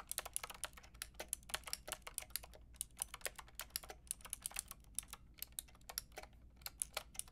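A white and pink Lofree mechanical keyboard with round plastic keycaps is typed on with long painted nails and fingertips, giving a steady run of about 43 sharp, bright plastic taps. Each click dies away almost instantly over a faint low, steady hum.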